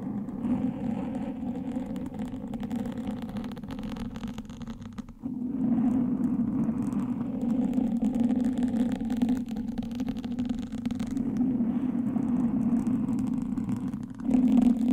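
Two thin wooden sticks held in the fingertips scratch and poke the soft, porous black foam windscreen of a microphone from both sides. The result is a dense, continuous crackling scratch over a low-mid rumble, with almost nothing bright. It dips briefly around the five-second mark, then comes back fuller and louder, swelling again at the very end.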